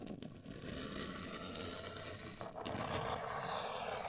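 Long acrylic nails scratch and tap a medium-size, hollow, black printed rigid cardboard cosmetic box. A steady, dry scratching texture runs throughout, with a few sharper taps near the start. About halfway through it turns louder and brighter.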